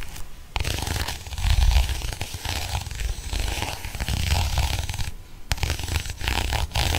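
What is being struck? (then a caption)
Faux leather planner cover. A small pink croc-textured faux leather pocket planner cover is scratched and tapped with a ballpoint pen. It makes a dense, continuous run of dry, low-heavy rubbing scratches broken by soft, quick taps, with brief quiet gaps near the start and around the five-second mark.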